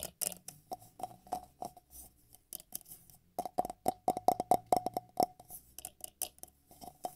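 Fingertips and nails tap and scratch the walls and base of a medium, empty, hollow, clear drinking glass tumbler held in bare hands. The result is a quick, uneven series of light taps and scrapes, with a faint, short glassy ring around 730 Hz and brief bright ticks.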